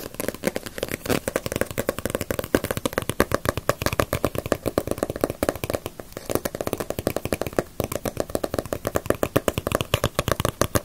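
Long nails rapidly tap and scratch the glossy paper cover of a small, solid Dragon Ball paperback manga book held upright. The result is a dense, continuous stream of short, dry taps with very little ring, plus light scratching between them, and a hollow low-mid tone around 290 Hz.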